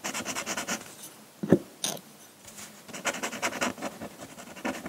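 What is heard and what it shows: A metal pen nib in a wooden holder scratches ink hatching across the dark rock area of a flat sheet of drawing paper. Rapid, dry, bright scratchy strokes come in quick bursts, broken by a quieter pause with two sharper, louder scrapes. The steady hatching strokes then resume until the end.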